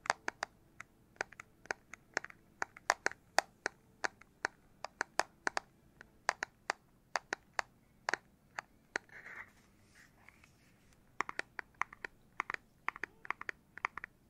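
Fingertips tap on the plastic back casing of a Nintendo Switch Lite handheld console. Dozens of short, dry clicks with no ring sound in quick irregular bursts, centered around 800 Hz to 2 kHz, with a brief soft rubbing or scratching sound in the middle before the tapping resumes.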